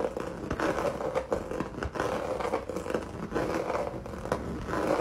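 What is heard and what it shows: Fingernails scratch quickly back and forth across a solid, flat canvas covered in textured red acrylic paint. The result is a steady, dry, rasping scrape made of irregular bursts, centered in the mids around 520 Hz with little low rumble or high hiss.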